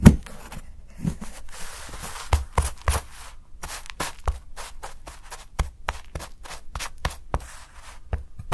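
A steel kitchen knife rapidly shaves and scrapes the edge of a solid milk chocolate bar held by fingers. The result is a quick series of sharp, crisp cuts and scratchy bright scrapes with very short decay over a low, dull background.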